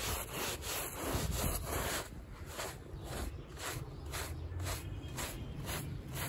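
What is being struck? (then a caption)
Woven textile rug scrubbed with a bristle brush. A gloved hand scrubs a small, muddy, fringed woven rug soaked with soap foam, using a handheld bristle brush in repeated back-and-forth strokes. Each stroke gives a wet, scratchy rubbing burst with a bright hiss on top and a dull low rumble underneath, forming a steady rhythmic scrubbing pattern.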